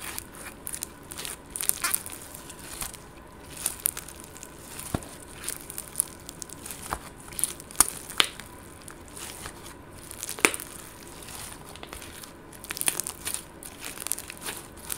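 A palm-sized, soft, solid lump of green slime with purple glitter and sprinkles is squeezed and kneaded between fingertips and long gold nails. It gives off quiet, irregular crackling, crinkling and sticky squishing, with sharp bright pops and clicks scattered throughout.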